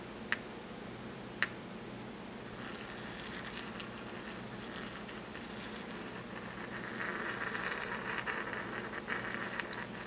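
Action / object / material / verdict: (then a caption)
tap / porcelain mortar and pestle / porcelain / none. A porcelain pestle gives two sharp, bright taps inside a small, empty white porcelain mortar held in the hand. It then settles into a steady, scratchy grinding against the hollow bowl, which grows louder and brighter in the last few seconds with a few light clicks.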